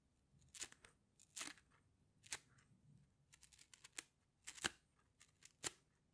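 A rainbow plastic slinky, a hollow coil, is stretched and compressed by fingers so its coils clack together. The result is a quiet, irregular series of dry, bright clacking bursts with crisp rattling edges and almost no low end or ring.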